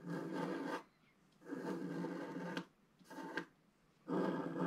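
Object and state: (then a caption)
Scratch art paper being scratched. A wooden stylus scratches the upper waves into a flat, solid black-coated scratch art page of about A4 size. Four separate raspy scratching strokes are heard, each a dense, grainy rub with a low-mid body, divided by short quiet gaps.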